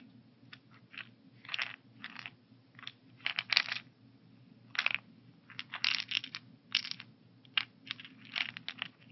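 A translucent plastic weekly pill organizer, held up in the hands with its compartments partly filled with tablets and capsules, is tilted and shaken. The pills rattle inside in short, bright, clicky bursts separated by brief pauses, over a low steady hum.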